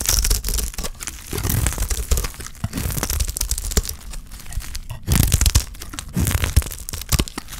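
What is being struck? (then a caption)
Soap bar shaved with a blade. A solid, dry green soap bar held in the hand is shaved with a utility knife blade, producing dense, crisp crackling and tearing scrapes with a heavy low body. Bursts of shaving come in uneven runs, with short quieter gaps between strokes.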